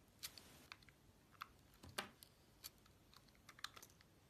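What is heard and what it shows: A utility-knife blade slices the outer layer off a solid orange bar of soap with gold stripes and a white core. Short, dry, crisp scraping cuts and crackles are heard in quick, uneven succession, bright and high with little low end and almost no ring-out after each cut.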